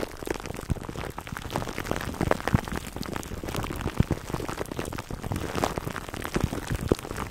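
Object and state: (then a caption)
Plastic cling wrap scratched over a foam mic cover. Fingertips and short nails of both hands scratch clear plastic cling wrap stretched over a black foam microphone windscreen, close up. The result is a steady, dense crackle of quick, dry crinkles and snaps, weighted toward the low end and rather like rain pattering on a surface.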